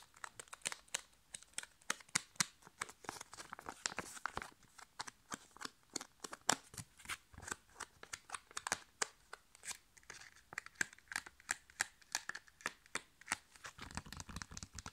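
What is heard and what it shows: A flat, sealed, foil-laminated plastic sachet holding a sheet face mask is bent and scratched with nails along its surface and edges. It makes a quiet, steady stream of crisp crinkles and sharp ticking scratches, bright and thin with almost no low end. Each sound is dry and stops instantly.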